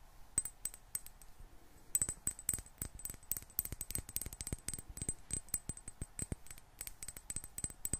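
A small clear glass bottle with a gold metal screw cap, partly filled with water, is held in one hand and tapped with long black-painted nails. The tapping is quick and irregular: dozens of sharp, quiet clicks with very short, bright glassy pings that die away almost at once. A faint pause near the start gives way to a denser run of taps from about two seconds on.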